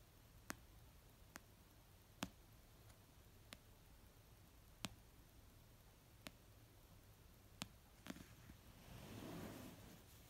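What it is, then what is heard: Paperback book. Fingertips and nails slowly tap an orange paperback novel of solid paper resting on a blanket, giving eight sharp, well-spaced clicks over a quiet low hum. Near the end, a soft, broad rustle swells and fades.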